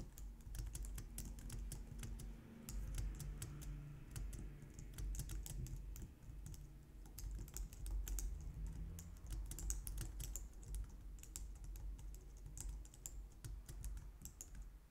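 Both hands type on a white plastic low-profile wireless keyboard with long nails and fingertips, producing a fast, steady stream of short, bright clicks and taps. Each keystroke dies away almost at once, over a constant low hum that carries most of the sound's energy.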